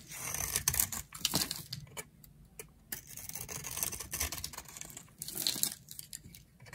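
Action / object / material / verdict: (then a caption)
scrape / bar of soap scraped with a metal blade / soap / none. A flat metal blade scrapes and carves thin flakes off a solid, palm-sized round bar of dry pink soap held in a hand with long nails. The sound is a series of bright, crisp scraping and crackling strokes in bursts, with short, quiet pauses between them.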